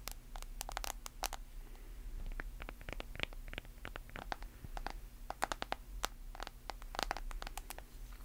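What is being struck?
Smartphone in plastic case.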